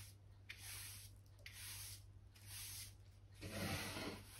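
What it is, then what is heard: Oak plank floor being brushed. A soft natural-bristle hand brush, held in the fingers, sweeps across solid oak floor planks, brushing dirt and dust from between the boards. Four soft, breathy scratching strokes are heard, with the last one fuller and louder. A steady low hum runs underneath throughout.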